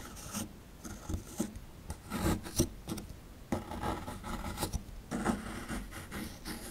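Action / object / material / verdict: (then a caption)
scrape / plaster excavation block scraped with a small chisel / plaster / none. A small chisel scrapes the crumbly plaster near the top right of a small, solid plaster fossil dig block. Short, raspy scraping strokes come in uneven bursts with bright, gritty hiss over a low rumble, and there are brief pauses between passes.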